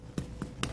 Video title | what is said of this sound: Let's Cook with Paul Dillon episode 104: Comfort Foods (2004) | when you want to test the bread to make sure it's done you're going to knock it and it's going to have a nice Hollow sound to it